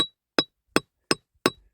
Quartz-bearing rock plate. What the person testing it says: I can hear that it's Hollow there's a gap between this plate and this plate here